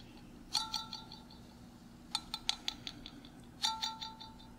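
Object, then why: Glass mason jar with metal screw lid. Fingertips and nails tap the metal screw lid of a clear glass mason jar, partly filled with water, held up close. Three quick bursts of light tapping give off bright, chiming metallic pings with a faint lower tone. Each ping fades fast against a quiet background.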